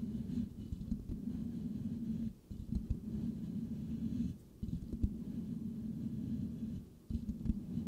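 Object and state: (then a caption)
Metal mesh microphone grille being scratched. Fingertips of both hands lightly scratch the rounded, hollow metal mesh grille of a white microphone. The result is a steady, muffled, low rubbing texture with a boomy hum and occasional soft ticks. It breaks into three brief quiet gaps before the scratching resumes.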